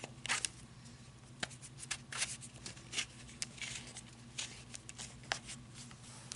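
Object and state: Flashlight barrel tapped and scratched with fingernails.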